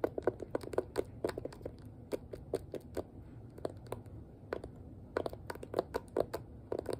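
The hollow, rounded back of a hand-sized pink plastic detangling hairbrush is tapped with long nails and fingertips. About thirty short, dry clicks and taps come in uneven clusters and pauses. Each has a hollow knock near 480 Hz with a brief bright tick, and they die away almost instantly over a faint low background hum.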